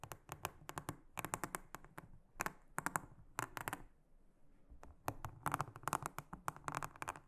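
A small silicone-headed brush is rubbed and scratched across the cells of a large, round, blue silicone honeycomb trivet mat lying flat and solid. Quick, dry, crisp scratching strokes come in rapid clusters, each short and bright with almost no ring, and a quieter stretch of soft rubbing falls around the middle.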